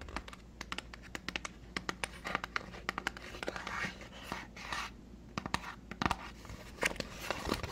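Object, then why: Small cardboard box. A small, hollow white cardboard moisturizer box is tapped and scratched with fingernails while being turned in the hands. Quick, dry taps land in an irregular stream, mixed with brief bright scratching rustles over a faint low hum. Each tap dies away almost instantly, with no ring.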